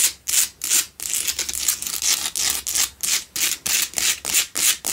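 Long pale-blue nails scratch the sides and front of a lit pink Himalayan salt block double candle holder made of solid salt. The result is a steady run of dry, gritty, bright scratching strokes, about three per second, each with a quick rise and fall and almost no low end.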